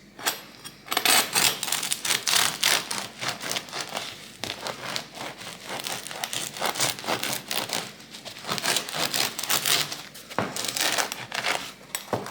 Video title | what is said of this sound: Oggi pranzo solo con un panino... da 40 cm e niente più ! | bello caldo e scrocchiarello avete sentito parla da solo